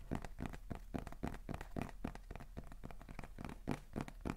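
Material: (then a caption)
Cardboard. A small, hollow beige kraft cardboard box with a white label is held in both hands and tapped and scratched with fingertips and nails. The result is a quick, uneven run of soft, dull taps with a short papery scratch between them.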